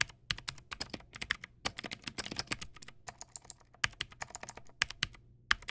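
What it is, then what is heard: Plastic mechanical keyboard. Fingertips type on a Teamwolf Zhuque+ X08, a backlit mechanical keyboard with white plastic keycaps and clicky blue switches. Quick bursts of sharp, bright clicks rattle out in uneven runs, each snapping off almost instantly, with a faint low clack under the high, crisp ticks.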